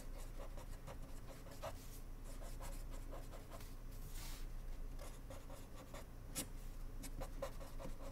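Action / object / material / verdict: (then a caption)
scrape / ballpoint pen on paper index card / paper / none. A blue ballpoint pen tip writes on a small, flat, white paper index card held by fingertips on a wooden desk. Quiet, irregular scratching strokes repeat rapidly, some brighter and sharper than others, over a steady low hum.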